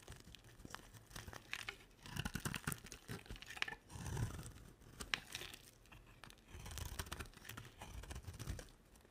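A dry olive-green rectangular solid bar of soap is shaved with a utility knife blade, producing dry, crackly scraping and tearing strokes with a soft low rumble underneath. The shaving comes in several louder bursts separated by quieter, crinkly pauses, with occasional sharp bright snaps.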